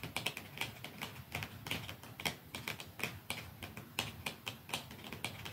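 Fingernails tap softly and slowly on a plastic mascara tube, making a steady run of 28 quick, light clicks over about five and a half seconds. Each tap is bright with a faint low thump beneath it, and it dies away almost instantly. The result is a crisp, delicate clicking with no ringing.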